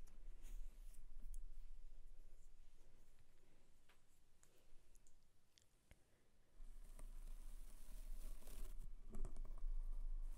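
Fingertips tap and scratch the surface of a white foam windscreen on a microphone, making small, soft clicks and brushy scrapes over a steady low rumble. The sound fades to near quiet around the middle, then returns with denser, brighter scratching and tapping.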